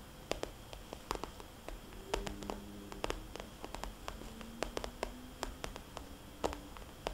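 Long dark nails tap and scratch the glossy surface of a small, rounded, soft, hollow red polka-dot vinyl cosmetics bag. Quick, crisp clicking taps land in an uneven rhythm, with short dry scratching and rubbing strokes in between that leave faint, low sliding tones. The sound is quiet and close, and each tap dies away almost at once.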